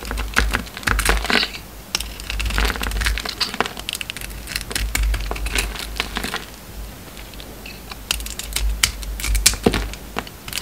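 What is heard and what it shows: An oval, solid bar of soap with a gold coating and an orange inside is held in the hand and shaved and scraped with a metal utility knife blade. Dense bursts of crisp, crackling scrapes and sharp clicks come in waves over a low, steady rumble, with bright, brittle crunching as the blade cuts through.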